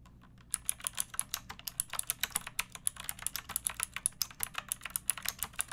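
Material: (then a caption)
Plastic. A pink plastic mechanical keyboard with round plastic keycaps and a backlight, hollow-bodied and resting on a wooden board, is typed on continuously by fingertips with long dark nails. After about half a second of quiet, rapid, bright, crisp clacks follow one another with very short decay, each with a high, sharp click on top.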